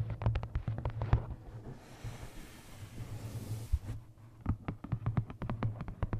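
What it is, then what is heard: Paperback coloring book. Long nails tap and scratch the cover of a tilted paperback "Lost Ocean" coloring book. Quick, dull taps with a deep low thump open and close the clip, with a softer, steady scratching hiss in between.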